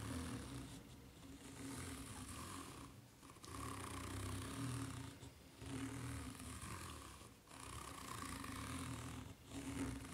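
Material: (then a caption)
Rubber. Long nails scratch slowly across the serrated underside of a white ridged rubber flip-flop sole, making a continuous rasping, buzzing scrape. The scrape swells in long strokes with brief pauses between them.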